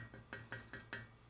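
A metal lawn mower engine muffler is tapped five times, each tap giving a short, bright metallic clink that rings briefly over a steady low hum. The muffler sounds solid and is still in pretty good shape, though it is due to be re-welded or replaced.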